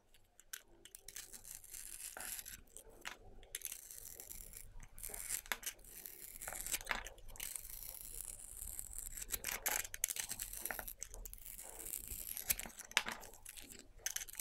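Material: Soap.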